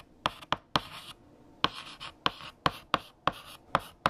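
Orange chalk is written by hand across a large flat black chalkboard. Eleven sharp taps ring out as the chalk strikes the board, each followed by a brief bright scratch as it drags across the surface.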